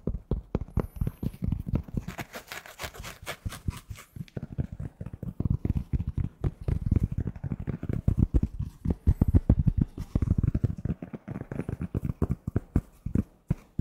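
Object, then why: Polyester fitted baseball cap. Fingertips tap and scratch the fabric panels of a navy New York Yankees polyester fitted baseball cap with a structured crown, hollow and empty and held by its side. The result is a steady run of quick, dull, low thumps that stop dead, with a stretch of brighter, hissy scratching early on.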